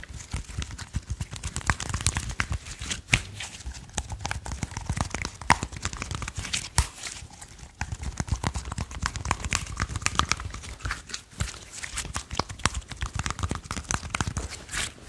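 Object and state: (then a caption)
Slime. A small handful of soft purple slime, a soft, solid blob held in both hands, is tapped and squished by fingertips. A steady stream of quick, sticky crackles, pops and squelches runs through the clip, with soft low thumps underneath and bright crinkly snaps on top.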